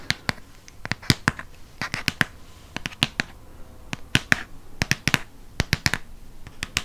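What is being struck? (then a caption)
Hardcover paper book. Long fingernails tap the dark blue front cover of a Harry Potter hardcover book held upright, making about two dozen crisp, bright clicks in an uneven rhythm. Each tap dies away almost instantly, with a faint scratchy rustle between hits.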